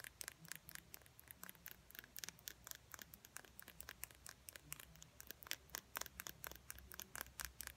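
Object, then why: Small plastic lip gloss tube with metal cap. Long fingernails tap rapidly on a small, slim, hollow plastic lip gloss tube with a silver metallic cap, held up in the air. Dozens of quick, dry, quiet clicks sound bright and crisp, each dying away at once over a faint low hum.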